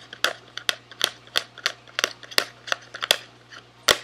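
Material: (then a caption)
Cardboard. Fingertips of the right hand tap and scratch a small SweetTarts cardboard candy box held in the left hand. The result is a run of sharp, dry, bright clicks with almost no ring, separated by quieter scratchy rustles.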